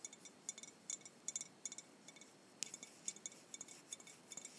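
A Jones soda glass bottle with blue liquid inside, held in both hands, is tapped and clinked with long white-painted nails. Quiet, bright, high-pitched glassy clicks come in an irregular series, each dying away almost at once with no low-end body.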